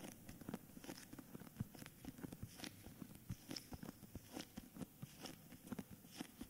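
Fingertips and short nails tap and scratch the front cover of a medium S. Fischer hardcover book in a cream paper dust jacket, held upright; the book is solid, not hollow. About seventeen short, dull taps land at an irregular pace, each a soft low thud that stops almost at once. Faint papery scratching and crackle fill the gaps.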